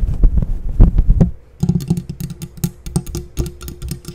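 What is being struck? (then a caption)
Faux fur microphone windscreen. A grey fluffy faux fur windscreen, soft and hollow over a microphone capsule, is scratched and rubbed with long painted nails and fingertips. Deep, muffled thumping and rustling fills the first second, followed by a brief near-silent pause. Then come quick, irregular scratchy strokes that stay heavy in the low end with short, dry, crackly edges.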